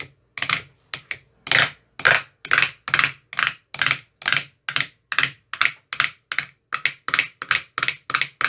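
An empty, translucent, frosted plastic ice cube tray with 15 hollow compartments is tapped inside its cells with a thin metal rod with a white rounded tip. There are 25 short, dry, bright taps at an uneven pace, each a quick hollow plastic click that dies away almost at once.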